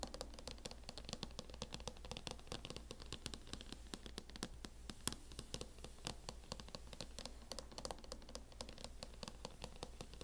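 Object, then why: Plastic laptop hard-shell case tapped with long nails. Long acrylic nails tap and scratch quickly on a closed laptop in a mint matte plastic hard-shell case. The result is a dense, continuous run of short, sharp clicks with brief scraping between them, over a steady low hum.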